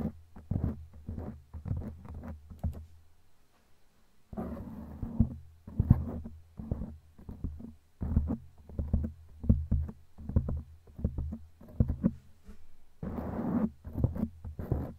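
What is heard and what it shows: Long glittery claw nails scratch and tap a black foam windscreen on a microphone. The result is a run of muffled, boomy thumps and soft scratchy rubbing, mostly deep and low. Two longer stretches of scraping sit between the quick taps.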